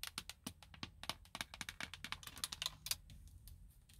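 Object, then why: Plastic steering wheel airbag cover. Long blue nail tips tap rapidly on the hollow, hard plastic airbag cover at the center hub of a car's steering wheel. The result is a quick run of sharp, bright clicks with almost no ring, much like keyboard typing, that thins into softer, denser tapping toward the end.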